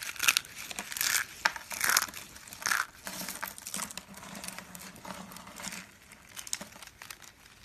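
Small hollow yellow and blue striped dry soap curls are squeezed and crushed in the palms into small flakes. Bright, dry crunching and crinkling comes in loud bursts over the first three seconds, then settles into softer, continuous crumbling.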